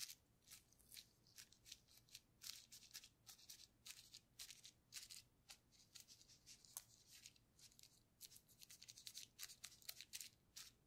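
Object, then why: Plastic bubble wrap sheet. A paintbrush loaded with purple paint is dabbed and rubbed over a clear plastic bubble wrap sheet with air-filled bubbles. It makes a quiet, irregular series of short, bright, crackly scratches and taps that are almost entirely high-pitched with very little low end. Each stroke dies away instantly.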